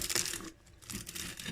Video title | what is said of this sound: Borek turc au fromage et persil à la poêle /برك تركي في المقلاة 😋😋 | Je sais pas si vous entendez le croustillant, mais ça croustille bien.